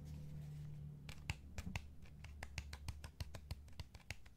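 Fingertips tap the shell of a hand-sized, hollow, light blue and black plastic PS5 DualSense game controller held in the other hand. About 18 short, dry, clicky taps with bright edges start after a quiet first second and come faster toward the end, over a steady low hum.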